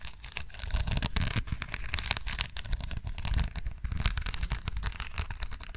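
Long dark nails scratch and tap across the studded face of a small, flat perfume bottle with a silver metal frame and rows of green rhinestones. The result is a dense, continuous crackle of bright clicks and scraping over a heavy low-end rumble, with brief louder bursts throughout.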